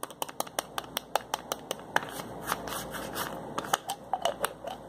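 Fingers twist and click the plastic cap of a small white plastic pill bottle with a label. About twenty short, sharp clicks follow one another at an uneven pace, with a soft scraping rustle between them. The clicks are bright and dry, with almost no ring.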